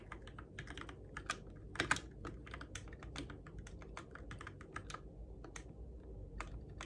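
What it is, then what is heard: Plastic mechanical keyboard. Fingertips type steadily on the plastic keycaps of a Keychron K6 compact RGB-backlit mechanical keyboard in the dark, producing a continuous patter of short, bright clacks that die away almost instantly. A couple of harder keystrokes stand out near the two-second mark over a faint low background rumble.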